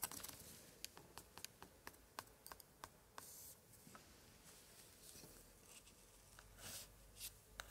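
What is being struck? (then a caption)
Thick old paper page tapped with a thin pointer. A thin pointer held in a white-gloved hand is tapped and dragged across the thick paper pages and pasted card prints of a large open antique scrapbook from the 1880s, staying on the same spread throughout. About 18 short, dry, bright ticks stand out over a quiet scratchy hiss, with soft papery scrapes and rustles between them.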